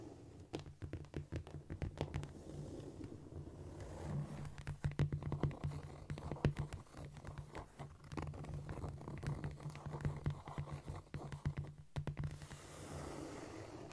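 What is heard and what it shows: Long nails on clawed fingers scratch and scurry across a flat, solid cork floor. The result is a dense run of soft, dry scraping and quick taps over a steady low hum, with louder bursts around the middle and a brief pause just before the end.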